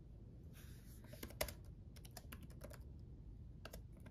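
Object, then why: Plastic laptop keyboard keys. Both hands type with their fingertips on a black laptop keyboard with backlit plastic keys, producing quiet, short, bright clicks and taps in an irregular rhythm. The taps are dry and stop quickly, over a steady low background rumble.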